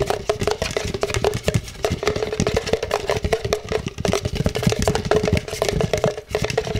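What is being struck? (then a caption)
Plastic cup. An empty, hollow black plastic cup, held with its bottom facing out, has its base and sides tapped and scratched rapidly with the fingertips. The result is a fast, dense stream of short, hollow knocks and dull thuds with a steady resonant tone around 400 Hz, mixed with light scratching and little high-end sparkle.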